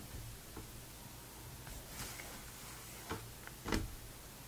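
An open vintage Sports Illustrated magazine from November 2002, its thin glossy paper pages flipped and smoothed by the fingertips of both hands. A quiet, steady papery rustle runs throughout, broken by brief crisp page sounds, with the loudest near the end.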